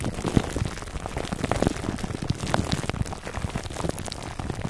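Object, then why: Foam microphone cover wrapped in plastic film. A foam microphone cover wrapped in clear plastic film is scratched near the top by short nails. The result is a dense, continuous crackle of crinkly taps and scrapes, weighted toward low thumps with a few brighter ticks, like rain on a surface.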